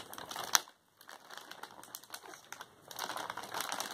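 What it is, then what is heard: Plastic mailer bag being scratched. Fingers and nails scratch and peel at the sealed strip of a filled white plastic poly mailer shipping bag, crinkling the plastic. A bright, dry crackle opens with one sharp snap, then falls silent briefly before irregular small ticks and rustles return. The crinkling swells into a denser, brighter rustle toward the end.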